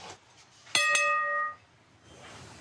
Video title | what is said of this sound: - "Reportages" du 5 novembre 2017 - Ils en font tout un plat - | Ça sonne bien? Ouais, super.